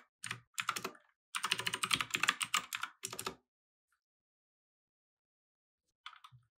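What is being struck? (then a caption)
Mechanical keyboard with plastic keycaps. Fingertips type on a compact mechanical keyboard with plastic keycaps resting on a wooden desk. Quick bursts of bright, clicky keystrokes run for about three seconds, pause briefly, then continue. After a stretch of silence, a few more keystrokes come at the end.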